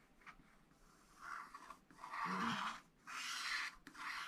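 A wooden stylus scratches back and forth across a black wax-coated scratch art sheet in a flat spiral pad, hatching a green tower area. Quiet, dry rasping strokes rise and fall in uneven bursts, with a soft papery hiss reaching into the highs and a brief faint low tone in the middle.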